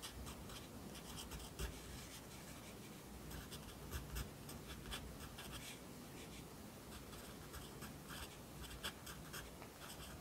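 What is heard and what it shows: A yellow wooden pencil held in the fingers writes across an open lined paper notebook lying flat on a desk, its graphite scratching on the paper. The quiet, steady scratching carries bright, short strokes over a low background hum, with occasional slightly louder taps.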